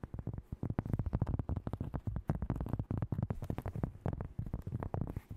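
A large, solid, thin round cork coaster is tapped and scratched quickly with long nails and fingertips. It gives a fast, irregular stream of soft, dull taps, mostly low and muffled, each dying away almost at once.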